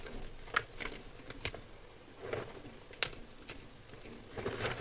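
A pile of dry, crushed white gym chalk (magnesium carbonate) in a clear bowl is squeezed and crumbled by fingertips. It makes soft, dry crunching and crackling with a faint patter, broken by several brief, sharper crumbles that carry bright high edges. Each crackle dies away almost instantly, leaving a low, quiet hiss between them.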